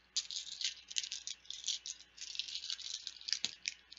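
Plastic Bananagrams word game letter tiles are rattled and shaken loudly, producing a dense, continuous clatter of bright, crisp clicks with almost no low end. The bursts rise and fall in quick waves, with one sharper knock near the end.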